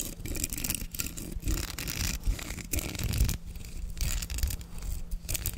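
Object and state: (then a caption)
Plastic hairbrush bristles scratched. Fingertips brush and scratch over the bristles of a black plastic hairbrush with a perforated back. The result is a continuous, dense, crackly rustle with a bright, hissy edge over a steady low rumble, rising and dipping in short waves.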